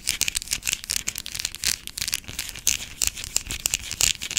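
Long black acrylic nails scratch and tap across a small, pale green solid bar of soap that is partly carved with grooves. The result is a rapid, uneven run of dry, crisp scratches and sharp clicks, almost entirely high and bright with very little low end. Each stroke stops dead with no ring.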